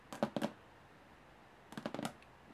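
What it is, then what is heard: Aluminum carry case tapped with nails. Long polished nails on both hands tap quickly on the diamond-textured top panel of a medium hollow aluminum carry case. Two short bursts of sharp, dry clicking taps are heard, separated by a pause, each tap dying away almost instantly with a hollow low-mid body.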